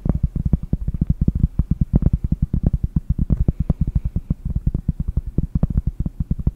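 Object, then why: Round cork trivet. Long painted nails tap rapidly on a large, round, solid cork trivet held in both hands. About fifty quick, dull, low thuds follow one another in a steady patter, each dying away almost instantly with no ring.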